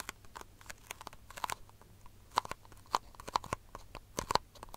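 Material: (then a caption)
Plastic. Long fingernails tap and scratch a small, empty, hollow disposable white plastic cup turned upside down. An irregular run of sharp, crisp clicks, each with a brief hollow tone near 1 kHz and a bright edge, stands out against soft scratchy rustling and dies away almost instantly.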